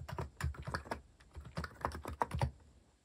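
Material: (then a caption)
Plastic. Bare fingertips type steadily on a compact white-cased mechanical keyboard with plastic cat-themed keycaps and a hollow case, resting on a wooden desk. About fourteen short, dry keystrokes are heard, each a deep hollow thock with a clacky tone near 945 Hz that dies away almost instantly.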